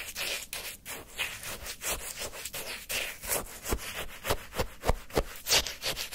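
A wooden stick scrapes repeatedly through frozen orange sherbet in a small paper cup, lifting a large icy scoop. The sound is a rapid series of crunchy, gritty scrapes with bright, hissy texture and soft low thumps. The strokes come at an uneven rhythm of roughly three per second.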